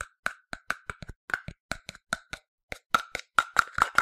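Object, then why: Plastic sunscreen bottle. Fingertips and a translucent plastic cap tap quickly and unevenly on the body of a medium-sized, hollow, yellow plastic sunscreen bottle. Each tap gives a short, dry, hollow click with a resonant tone around 1.4 kHz and almost no ring. The taps grow slightly louder and ring more toward the end.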